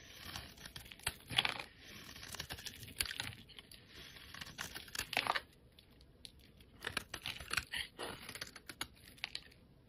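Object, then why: Bar of soap scraped with a steel blade. A steel utility blade shaves and scrapes flakes off the surface of a solid, hand-sized, rectangular yellow bar of soap held in hands with painted nails. The result is a run of crisp, bright scraping and shaving strokes with short crackling bursts, separated by brief quiet pauses.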